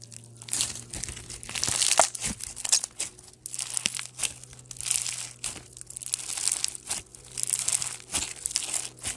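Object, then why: Slime with polystyrene foam beads. A solid mass of pastel foam bead slime (floam), made of slime and polystyrene beads, is pressed between thumbs, then squeezed and stretched into a strip by fingertips. It gives dense, bright, crunchy crinkling and crackling in waves of rising and falling loudness, with a faint steady low hum underneath.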